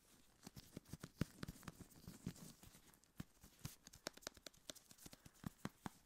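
A tall, hollow, pressurized metal aerosol can of shaving foam is held close to the microphone and tapped with gloved fingertips. The result is a quick, irregular run of soft, dull taps with a low body around 150 Hz and faint bright clicks, each dying away almost at once.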